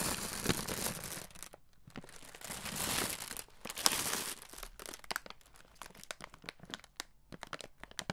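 A red plastic-film Skittles bag, apparently full of candy, is held in the hand and crinkled and squeezed with the fingers. Bright, dense crinkling swells in louder bursts early on, then thins into sparser, sharp, dry crackles with quick decay.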